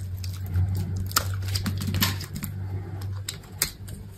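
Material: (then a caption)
Soap. A steel utility knife blade shaves and scrapes flakes and cubes from a solid, hand-sized bar of white soap. Irregular dry scraping and crisp crackling ticks, some sharper and brighter than others, sit over a steady low hum.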